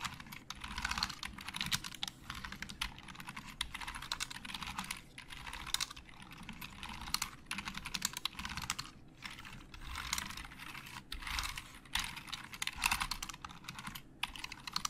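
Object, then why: Plastic computer keyboard. Fingertips type rapidly across the keys of a hollow black plastic Logitech keyboard. The result is a dense stream of bright, hollow plastic clicks and clacks in bursts, broken by brief pauses, with a faint low rumble underneath.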